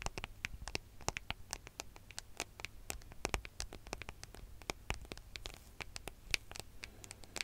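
Long fingernails tap and scratch the gold metallic back of a smartphone, making a quick, uneven run of sharp, dry clicks with no ring. Between the taps there are faint scratchy scrapes over a steady low hum, and the clicks have a bright, crisp edge.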